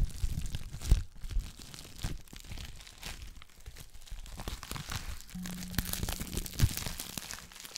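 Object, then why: Plastic bubble wrap sheet. A clear plastic bubble wrap sheet is crumpled, scratched and popped with long black nails, giving a steady stream of close crinkling and crackling with a dull low-end thump under it. Sharp pops stand out near the start and again near the end, and a faint low hum runs through the second half.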